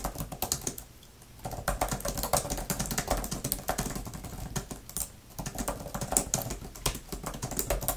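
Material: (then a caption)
Plastic. Long-nailed fingertips type fast on a grey, thin plastic laptop type-cover keyboard with flat plastic keys. The result is a dense run of quick, bright plastic clicks and taps, broken by brief pauses around one second and five seconds in.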